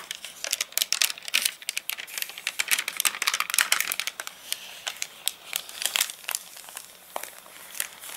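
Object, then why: Paper catalogue pages. Fingertips lift a page of an open paper catalogue whose stiff, wrinkled pages have dried after getting rained on, then a palm presses and rubs across the crinkled sheets. Dense, bright crackling and crinkling fill the first half with sharp, quick snaps, then ease into softer, scattered rustling with occasional crisp pops.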